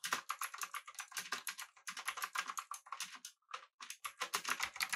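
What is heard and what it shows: Both hands type with their fingertips on a full-size backlit typewriter-style mechanical keyboard with blue switches, an aluminum body and round plastic keycaps. A fast, steady run of sharp, bright clicky keystrokes is heard, each dying away almost instantly. There is a brief pause about two-thirds of the way through before the typing resumes.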